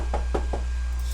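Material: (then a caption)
Plastic. A few light knocks on the plastic casing of a PS3 game console, kept gentle because a movie disc is playing inside. The taps are dull, muted thuds with little high-end, over a steady low hum.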